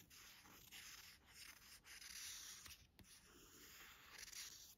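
Several quick strokes, close together, give a dry, high scratching hiss with almost no low end. Fingernails drag over the smooth coated cover of a hardcover book. The slick board gives back friction noise rather than any tone.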